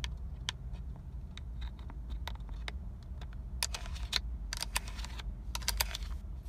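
Long acrylic nails tap and scratch the hard, hollow, pebble-textured black plastic airbag cover, with its chrome logo, fixed in the center hub of a Nissan steering wheel. Quick, dry clicks with short bright ticks and scratchy rasps come in uneven bursts. A steady low hum runs underneath.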